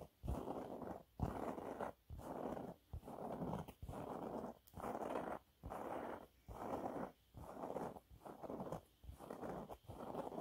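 Long nails scratch and rub across a yellow waffle-textured cleaning cloth with splayed fingers, making dry, papery scraping strokes. About twelve separate bursts of scratching come in a steady back-and-forth rhythm with short silences between them, the sound mostly low-to-mid and dull rather than bright.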